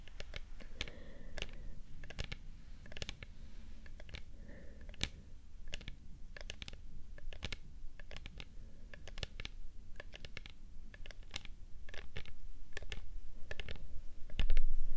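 Long painted nails tap and scratch a dark purple plastic spray bottle, making quick, irregular sharp clicks mixed with soft scraping over a low steady hum. The tapping grows a little louder toward the end and finishes with a stronger knock.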